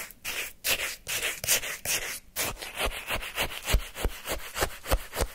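A wooden stick scrapes, stirs and digs into a small paper cup full of frozen orange shaved-ice sherbet. Rough, crunchy scraping bursts carry bright, gritty texture over the icy crystals. Toward the end they give way to shorter, sharper digs with dull low thumps against the cup.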